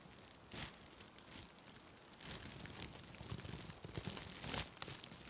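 A white nylon mesh bath pouf held beside the microphone is squeezed and scrunched by fingers with long red nails. It gives soft, bright, airy crinkling and rustling in a continuous stream of quick crackles, with a few louder bursts swelling out of the quiet hiss.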